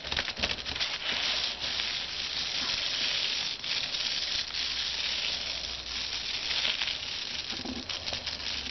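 Fingertips and short nails scratch and tap the bubbly surface of a white plastic bubble-lined mailer lying flat on a desk. The result is a steady, bright, crinkly hiss of scratching with faint taps, concentrated in the high range with almost no low end, and fairly even loudness apart from a few brief dips.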